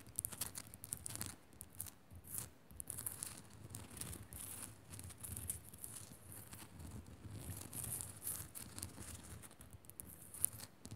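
Long nails scratch fast across the rough surface of a small, solid pink Himalayan rock-salt crystal lamp, with some tapping. Quiet bursts of dry, gritty scraping come with a bright hiss over a soft low rumble, and each stroke stops short with almost no ring.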